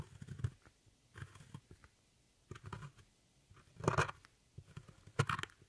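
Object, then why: Pressed powder eyeshadow pan scraped with a metal tool. A metal tool with a rhinestone handle scrapes and crumbles a dark brown pressed powder pan in an eyeshadow palette. Short bursts of gritty, crunchy scraping come in uneven clusters, with low thuds and brighter crackles and quiet pauses between them.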